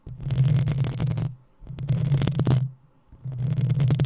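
Long nails scratch the hollow metal mesh grille of a black desktop microphone in three separate bursts. Each pass gives a heavy, close low rumble under a bright, gritty scratching texture, with short quiet gaps between them.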